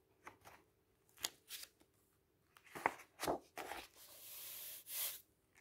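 A hand turns the pages of a large white printed paper brochure lying open on a table and sweeps its fingertips across the paper. Quiet, crisp rustles and sharper crinkly snaps of turning pages are followed by a steady, bright brushing hiss and a final soft swish of paper.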